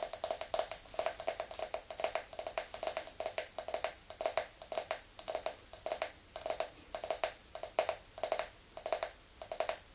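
Long nails tap and scratch the ridged base of an empty clear glass tumbler held tilted in the hand. Quick clusters of bright clicks and scratches repeat in a steady rhythm, each carrying a short glassy ring around 630 Hz that fades almost at once.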